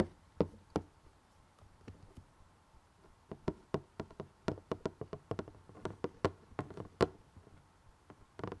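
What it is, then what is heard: Cardboard puzzle box. Fingertips and nails tap the glossy printed lid of a closed rectangular cardboard jigsaw box holding puzzle pieces. The result is an irregular series of short, dry, hollow knocks with a mid-pitched body and a very quick decay. The taps are quiet and vary in strength, with faint soft rustling between them.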